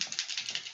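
A container of Marabou metallic pigment flakes (rainbow, copper, gold and bronze metallics) is shaken quickly. It gives a bright, dry, high-pitched rattle in about seven quick bursts as the loose contents shift inside.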